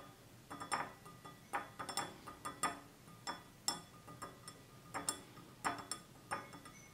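Fingertips and nails of both hands tap the sides of a small, hollow, empty stemless drinking glass of clear glass with a red-tinted base, standing on a table. Quiet, irregular light taps give bright, thin clinks with a short high ring that fades quickly between taps.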